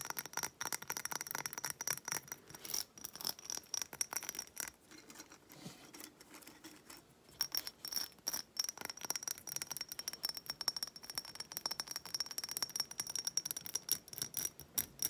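A small hobnail-textured glass reed diffuser bottle with wooden reeds, partly filled with liquid, is held in hand and tapped and scratched all over with long nails. Rapid, bright clicking taps and scratchy rasps run throughout over a faint high glassy ring, with a softer, quieter scratching stretch in the middle before the quick tapping resumes.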